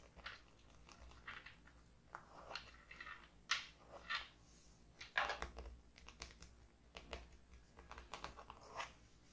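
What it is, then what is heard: Hardcover paper notebook. Long painted nails and fingertips tap and scratch across the floral printed hard cover of a closed hardcover paper notebook resting on a wooden table. Quiet, irregular clicks and short scratchy, crinkly bursts rise from the mid range into bright highs, with a few sharper taps standing out over a low steady hum.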